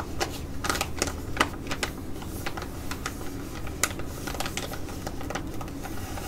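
An orange Deeeep Focus foil patch mask pouch, glossy laminated plastic, flat and filled, is held and tapped and scratched with long nails. Sharp, bright clicky taps land over a soft crinkling scratch and a steady low hum. Each tap dies almost at once with no ring.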